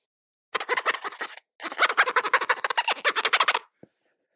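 A fingernail is scraped across the textured plastic back panel of a Samsung Galaxy A14 5G smartphone in two passes, producing a rapid series of dry, ratcheting clicks and scratches, followed by one faint tick. The texture gives the phone a little grip, though not much.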